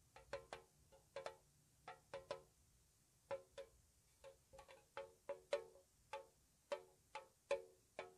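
A small, hollow, square metal tea tin painted white is tapped on its side with long nails. There are about twenty slow, soft, irregularly spaced taps, each a short, hollow metallic tick with a tone around 570 Hz and only a brief ring.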